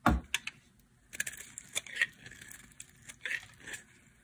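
A metal blade scrapes and carves the surface of a hand-sized blue bar of dry soap, with the curls falling onto a pile. A strong low-thudding cut opens the clip, followed by a series of short, crisp, bright scraping strokes and brief crackles separated by quiet gaps.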